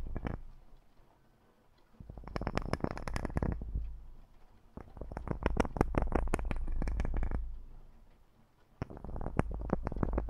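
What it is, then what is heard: Metal microphone grille being scratched. Gloved fingertips in black rubber or nitrile gloves scratch and rub the hollow metal mesh grille of a large USB condenser microphone. Bursts of rapid, dry scratching and clicking come in waves separated by quieter pauses, with a heavy low-frequency rumble underneath.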